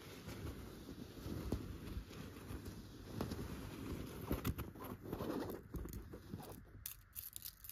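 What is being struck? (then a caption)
Stuffed chenille fabric pillow. Long gold metal claw nail covers scratch and brush across a soft, stuffed yellow tufted chenille pillow. The result is a quiet, dull, low-heavy scratching and rustling texture, broken by a few sharper scrapes and clicks with very little ring.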